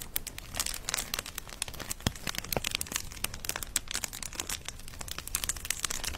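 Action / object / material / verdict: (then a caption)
scrape / plastic bubble wrap sheet / plastic / none. A medium-sized sheet of clear plastic bubble wrap with hollow, air-filled bubbles is held in both hands and squeezed and crinkled with the fingertips next to a fluffy microphone. A steady stream of dense, bright crinkling is punctuated by many sharp little cracks and pops that stop almost instantly.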